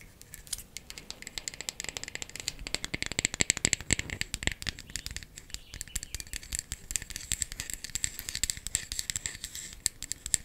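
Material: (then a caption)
Wood. A wooden makeup compact is tapped quickly with fingernails for ASMR. It makes a dense, steady stream of dry, bright clicks that stop almost instantly, with most of the energy high up and little low end.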